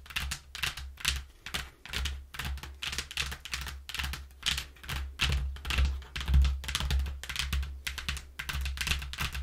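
Long nails tap quickly and scratch across the inner panel of a flattened, thin, hollow brown corrugated cardboard box. The result is a fast, uneven run of dry, bright, papery taps and scrapes over a steady low hum.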